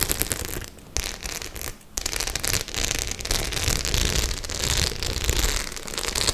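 Long nails scratch and tap the metal studs of a white studded faux leather clutch bag held at an angle. The result is a dense, crackling mix of scratching and quick tapping, spread from low rumble to bright hiss, with two brief quieter pauses near the start.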